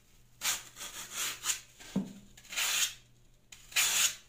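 A plastic Y-peeler with a metal blade shaves strips off a hand-sized solid block of green phenolic floral foam held in the hand, and the strips fall onto a pink mat. Several dry, bright, hissing scrapes are heard, with one short, dull low knock between them.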